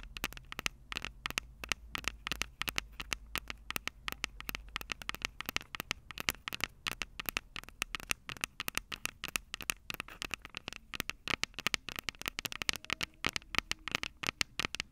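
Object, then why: Metal microphone capsules of a handheld recorder. Long purple acrylic nails on both hands tap and scratch the two metal X/Y microphone capsules of a small black plastic Tascam DR-05 handheld recorder held upright. The result is a dense, rapid stream of sharp, bright clicks and scratchy crackles that stop instantly, with almost no low end.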